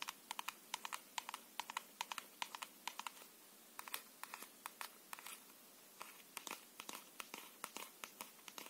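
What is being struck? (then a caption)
Paperboard playing card box holding a deck. Fingernails tap and scratch a small closed paperboard tuck box of plastic-coated playing cards, hollow and holding a full deck, held in both hands. About forty quick, dry, bright clicks come in uneven bursts with brief pauses, each snapping off instantly with a light papery tone near 945 Hz. There is no low end beneath the faint scratchy hiss between taps.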